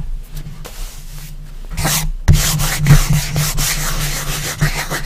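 Fingertips rub and brush across the flat lid of a bare, light wooden coffin-shaped box. The result is a series of soft, uneven, hissy scraping strokes that turn bright in the louder passes, over a steady low hum near 150 Hz.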